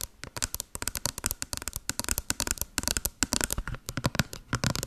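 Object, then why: Small printed cardboard box. A small, hollow white cardboard box with a blue pattern is held in front of the mic and tapped and scratched with long blue acrylic nails. Quick, dry clicks and scrapes come in a dense, uneven stream, each very short and bright with a light hollow knock underneath.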